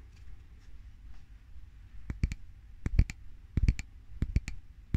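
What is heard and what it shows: A medium glass jar filled with a white solid, candle or cream, is held up in one hand and tapped and scratched on its side with the fingernails of the other hand. After a faint, soft scratching opening over a low rumble, sharp dry clicks arrive in four quick clusters, each dying away almost instantly.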